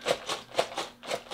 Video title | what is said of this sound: I bought a 25 POUND Box of Amazon and Walmart Returns | this sounds like plastic cake topper thingies